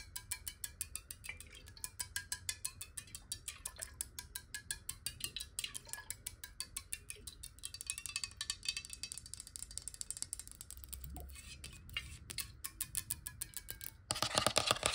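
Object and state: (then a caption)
Glass water bottle tapped with nails. Long nails tap fast on the sides of a clear, square-sided glass water bottle that is hollow, partly filled with water and held tilted. The result is a quick, uneven stream of light, bright glassy clicks with very short ring and little low end. A louder, dense burst of noise fills the last second.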